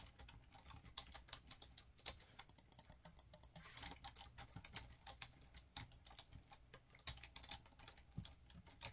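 Fingertips type fast on a black plastic laptop keyboard, making a dense run of short, bright clicking key taps over nine seconds. Each tap is crisp and dies away almost instantly, with a light low thump under the clicks.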